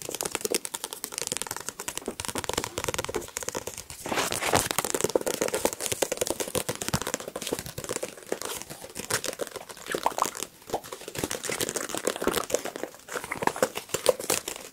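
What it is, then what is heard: Paperback book. A small, solid paperback book with a glossy card cover and paper pages is held in the hands close to the microphones while fingertips and nails rapidly tap and scratch the cover, and the pages are handled. The result is a dense, continuous stream of quick, dry crinkling taps and scratchy rustles with a bright edge and almost no low end, each tap dying away instantly.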